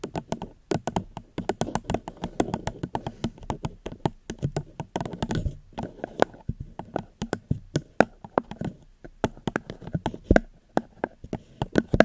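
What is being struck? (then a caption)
Plastic cup. A plastic cup is tapped gently near a microphone, producing a steady run of quick, soft taps. Each tap is a short, dry, mid-toned click with almost no ring.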